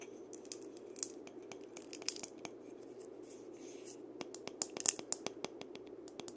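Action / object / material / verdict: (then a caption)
scrape / dried-gourd maraca with wooden handle / dried gourd / none. Fingers scratch and rub the body and wooden handle of a single hollow, painted dried-gourd maraca while it is rotated. The result is a quiet, dry, bright scratching with irregular sharp clicks and faint rattles over a soft low hum. The clicks grow denser and louder toward the end.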